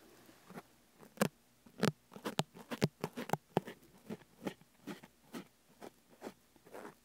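Fine brushes with wooden handles, one in each hand, are brushed and scratched over the sides of a whole fresh pineapple with a rough, scaly rind. The pineapple is solid and large, with a leafy crown and a decorated face, and stands on a wooden table. The result is a run of short, dry, crackly scratching bursts with a low body and soft, bright edges, separated by quiet gaps.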